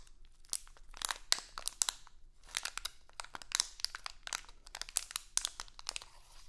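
A small printed, crinkly plastic Halloween candy bag is held in both hands, crinkled and scratched with long acrylic nails. Sharp, bright crackles come in quick, uneven bursts with short quiet gaps between them. There is almost no low end.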